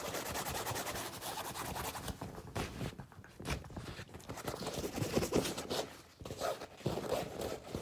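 An empty, flat, medium-size cream tote bag of non-woven fabric printed with "Anime Zakka" is held up, then rubbed and brushed with the palms and fingertips of both hands. The result is a dense, papery rustling and scraping with quick brisk strokes, louder swells in the middle, and a brief quiet lull before the rubbing picks up again.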